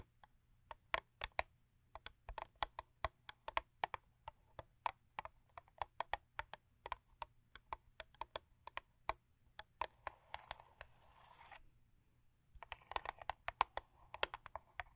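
Long acrylic nails tap and scratch the front of a long, thin printed cardboard Crest toothpaste carton lying flat. About 56 quick, dry, crisp taps ring out with almost no decay. From around 10 seconds, stretches of soft, hissy scratching run between them.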